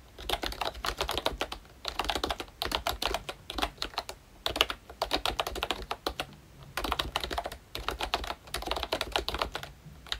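Both hands' fingertips type on a pink plastic ROYCHE Disney Mickey Mouse retro membrane keyboard with round black keycaps. Quick, bright, soft clacks come in rapid flurries separated by brief pauses, each tap dying away almost at once.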